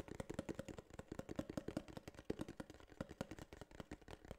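Fingertips tap and scratch the flat face of a small, hollow, tan kraft cardboard case held in one hand. The result is a quiet, rapid, irregular patter of dull, hollow knocks with a low-mid body and almost no ring, mixed with soft scratchy brushing.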